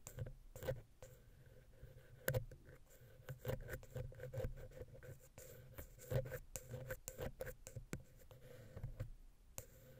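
A wooden ear pick scratches and taps the center of the silver metal XY stereo capsule on a Zoom H6 recorder. Soft, dry scraping runs throughout, broken by irregular sharp taps that each thump low and die away almost at once. The overall sound is quiet and heavy in the low end, with little brightness.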